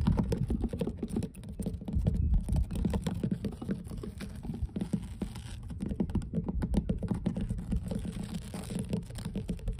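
Long blue nails tap and scratch across solid, weathered wooden dock planks in a rapid, dense stream of soft knocks. The taps sound dull and low, with little high ring, over a faint scratching texture.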